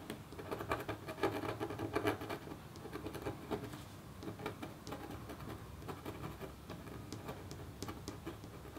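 A metal stylus in a red wooden holder scratches a hummingbird design into a flat copper scratch art sheet. Short, patter-like scratch strokes overlap in a soft, dry, steady texture, slightly busier at the start and settling into a quieter, even rhythm.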